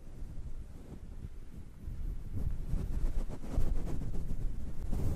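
Fingertips squeeze and rub a grey-and-black synthetic faux fur windscreen covering a microphone. The result is a muffled, deep brushing rumble that grows louder after about two seconds and stays almost entirely in the low range.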